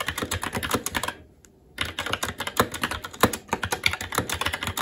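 Fingertips of both hands type rapidly on a SteelSeries Apex 7 TKL mechanical keyboard with red linear switches, black plastic keycaps and an aluminum plate. A dense stream of short, bright plastic clacks with soft low thuds breaks for a brief pause just after the first second, then resumes at the same quick, uneven pace.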